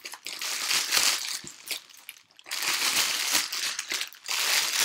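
A thin, empty, clear plastic garment bag is held in the hands close to the microphone and crumpled and squeezed with the fingers. It makes dense, bright, crisp crinkling with almost no low end. The crinkling dips into a near-quiet pause around the two-second mark before resuming at full intensity.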